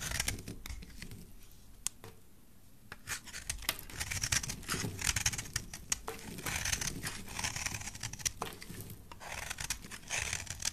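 A solid rectangular yellow soap bar, held in the hand, is sliced and scraped with a utility knife blade. Crisp, bright scraping and cutting sounds come in quick bursts of short clicks and rasps, with a brief quieter pause early on before the scraping picks up again.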